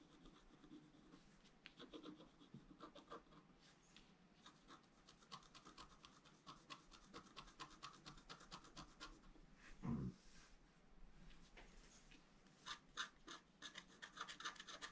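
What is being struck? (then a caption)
Black-coated scratch art paper scratched with a wooden stylus. A wooden stylus scratches strokes into a flat, black-coated scratch art paper sheet, drawing the basin. Quiet, dry, rasping scratches repeat in quick bursts with a bright edge, and a brief low bump sounds near the middle. Denser, sharper strokes follow toward the end.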